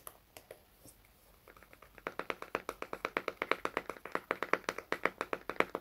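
Fingertips and nails tap and scratch the lid of a small round red plastic hair wax jar held in both hands. A few scattered taps and faint scratching give way to a steady, even run of crisp, dry plastic clicks that grows louder. About 31 hits in all, each short and bright with almost no low end or ring.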